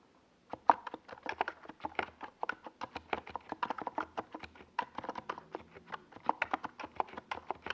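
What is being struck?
Plastic mechanical keyboard.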